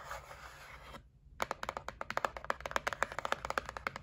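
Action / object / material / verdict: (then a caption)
tap / cardboard gift box / cardboard / none. Long nails rub and then tap across the lid of a closed white printed cardboard gift set box lying flat. A soft, airy scratching fills the first second, then after a brief pause come about two dozen quick, dry, papery taps in an uneven rapid rhythm, each one short with almost no ring.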